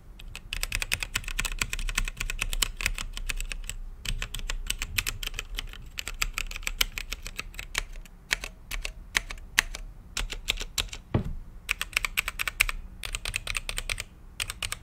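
Fingertips of both hands type on a mechanical keyboard with plastic keycaps in a translucent lit case, giving a dense run of sharp, bright clicks with a low thock under each stroke. The typing comes in bursts with short pauses, and the keys stop dead with no ring.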